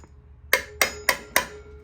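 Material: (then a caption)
Steel. A steel valve and spring assembly on a rebuilt cylinder head is tapped four times, each tap giving a sharp, bright metallic strike with a clear ring centered around 1.9 kHz that decays quickly. The ringing shows the valve collets are seated properly.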